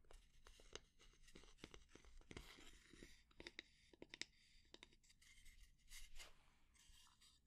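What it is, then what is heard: Wooden spatula. Long nails scratch along the handle and head of a solid, light wooden spatula. The result is quiet, dry, bright scratching in short rasping strokes and sharp ticks, with little low-end body and no ring after each stroke.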